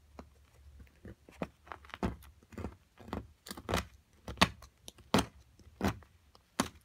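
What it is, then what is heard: Plaster block being chipped and scraped. A small metal carving pick chisels and scrapes at a solid white plaster excavation block with purple-tinted areas, held in place with long nails. About a dozen short, dry, gritty scrapes and crunches come at an uneven pace, bright and crumbly with a little low thud beneath. Fragments break off the block.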